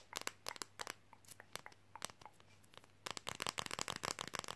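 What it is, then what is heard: Flexible fridge magnet, tapped and scratched. A thin, flexible red Coca-Cola fridge magnet about the size of a card is held in the hands, tapped and scratched with fingernails, and slightly bent. Sharp, dry, bright clicks come in a scattered run for the first three seconds, then turn into a quick, dense burst of crisp, crinkly taps with almost no ring.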